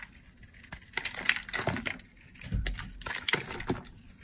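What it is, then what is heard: Dry bar soap. A blade shaves crumbly curls off a hand-held oval purple bar of dry solid soap. Two passes of dry, crunchy scraping are heard, full of bright crackles and sharp little snaps with a faint low rumble underneath.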